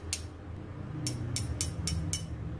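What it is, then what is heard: Solid alloy smartwatch case. Six light taps on the alloy case of an H30 smartwatch produce short, bright, high-pitched clicks that die away almost instantly over a low background rumble. The case sounds solid, in line with its solid build quality.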